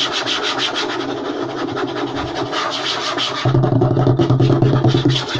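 Short nails and fingertips scratch and rub fast across a flat, light wooden tabletop, making a dense, rapid rasping with a bright, gritty texture over a low, hollow body. About halfway through, the rubbing grows louder and heavier, with a stronger low hum and less brightness.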